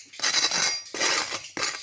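Three bursts of bright, high-pitched crunching come from golden, crispy toasted bruschetta bread that was pressed panini-style in an appliance. Each burst is crackly and sharp, with no low end, and fades quickly before the next begins.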